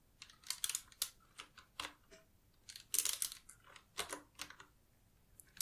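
Fingertips with long nails type continuously on a black Qwerkywriter S typewriter-style retro mechanical keyboard with round plastic keycaps. About fifteen sharp, bright, dry clicks and taps land in an uneven rhythm, each dying away almost instantly with very little low end.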